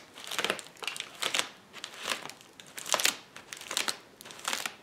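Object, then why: Plastic bubble wrap sheet. Palms and fingers press down on a flat sheet of clear plastic bubble wrap lying on a table, popping the bubbles. Bright bursts of crinkling and sharp crackling pops come in irregular clusters about once a second, with quiet gaps between them.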